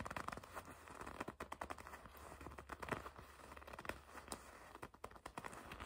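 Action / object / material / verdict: scrape / leather jacket / leather / none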